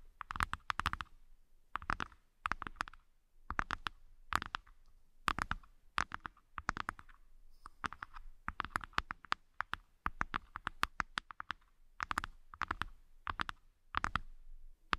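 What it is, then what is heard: Empty wooden tray, tapped and scratched. Long nails tap and scratch the inner bottoms of two small, empty, hollow, light wooden hexagonal trays set side by side. Quick clusters of dry, hollow clicks with a woody knock near 1.2 kHz come in bursts separated by short pauses, with faint scratching between them. Each tap dies away almost instantly.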